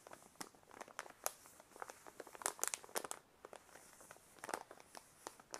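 A white paper envelope is held in both hands while the fingers crinkle, squeeze and rub the paper. It makes quiet, dry, bright crackles and short rustling snaps with no low end. The sharp bursts die away instantly between softer stretches of rubbing.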